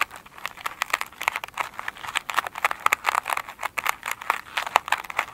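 Long pointed nails scratch and tap the glitter mesh top of an oval foam sponge lying on a glossy table. The result is a rapid run of crisp, dry crinkling clicks and scratches, bright and thin, with no low end and almost no ring after each touch.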